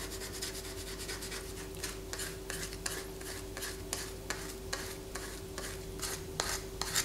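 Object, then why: Bar of soap. A palm-sized, solid white bar of soap is held in one hand above a paper poster and scratched with long fingernails, letting shavings fall onto the poster. The strokes make a dry, bright rasping that repeats in quick, uneven scrapes, with a few sharper clicks standing out over a steady low background.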